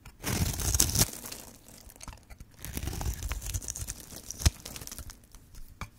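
A metal blade carves and scrapes cubes off one end of a green and white striped solid bar of dry soap held in hand. Dense, crunchy scraping and crumbling with bright, crackly detail builds to a loud burst in the first second. Quieter scratching follows, broken by a sharp crunch near the end.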